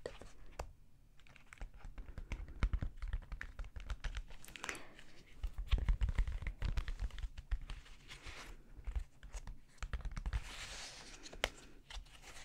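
A flat, hand-sized rainbow pop-it fidget toy of soft silicone with hollow bubbles is held in both hands while fingertips with long dark-painted nails press and pop its bubbles. Quick, irregular soft pops and dry clicks come in dense bursts, with a dull low thump to each press and occasional brighter crinkly scratches. Each sound stops almost instantly, with no ring.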